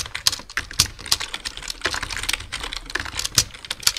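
Dense two-handed fingertip typing on a black plastic full-size computer keyboard produces a rapid, uneven stream of key taps. Each tap is a short, dry, bright click with almost no low end, and a few stronger strokes stand out above the steady clatter.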